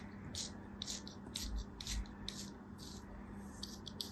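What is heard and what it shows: A thin metal craft-knife blade scrapes and cuts a small, solid block of beige kinetic sand held in an open palm, with crumbs falling off. About eleven short, gritty scrapes come at an uneven pace, each a soft, bright, high hiss that stops quickly. A steady low hum sits underneath throughout the quiet recording.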